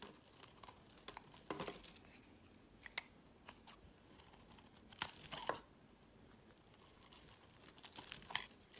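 A utility knife blade scrapes and carves curling shavings off a solid orange Palmolive soap bar held in the hand. Quiet, crisp, crackly scratches come in short bright bursts, with a few sharper strokes standing out over a faint hiss.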